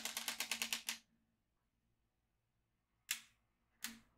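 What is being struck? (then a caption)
Plastic magnetic drawing pad with steel beads. A yellow magnetic pen is traced across a black plastic magnetic drawing tablet, and its steel beads click into place. A rapid run of bright, dry clicks fills the first second. After a quiet gap, two more separate bright bursts follow near the end.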